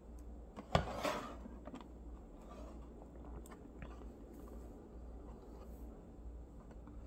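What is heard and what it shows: Fingertips and thumbnails rub and slide along the ridged edges of a long row of thin, solid, small nickel-plated neodymium block magnets stacked face to face on a mirrored metal plate. A sharp, bright click and scrape sound early, followed by quiet, irregular scratching and soft ticks over a steady low hum.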